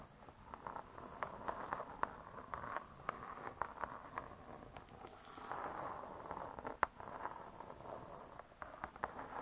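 Long dark stiletto nails tap and scratch the glossy laminated board cover of a medium spiral-bound cookbook, "Vegetarian Cookery 2," with a metal coil binding, lying closed and solid on a soft cloth. The result is quiet, dry, short clicks with no ring, mixed with soft scratching swells, centered in the midrange with little low or high content.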